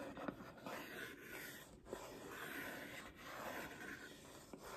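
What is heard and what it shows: Long painted nails rub and scratch the surface of a flat holographic cardboard Seventeen album box held in one hand. The result is a soft, continuous papery scratching with a hissy, bright texture and a few faint ticks.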